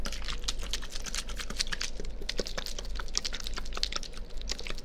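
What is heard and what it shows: A small, clear, partly filled plastic water bottle is held near a binaural microphone and squeezed and crinkled with the fingers. Rapid, crisp crackles and bright clicking pops come one after another over a steady low hum. Each snap cuts off almost instantly.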